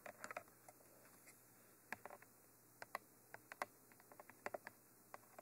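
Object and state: Hollow plastic microphone tube tapped with nails.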